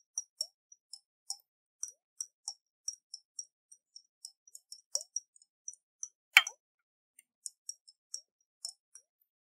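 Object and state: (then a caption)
Glass jar partly filled with water. A round, hollow glass jar with a metal lid, partly filled with water, is tilted and shaken in the hands. It makes a quiet run of short, bright plops and ticks with a louder splash near the middle. The sound is high and crisp, with almost no low end and very little ring.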